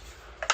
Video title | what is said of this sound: Are Wolf Garten Tools Worth The MONEY? #wolfgarten #toolreview | it's hollow as you can hear but robust